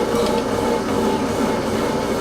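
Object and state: Nothing is struck.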